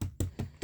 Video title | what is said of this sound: 30 Pack Space Saver Bags (6 Jumbo/6 Large/6 Medium/6 Small/6 Roll) Compression Storage Bags | still sounds Hollow doesn't it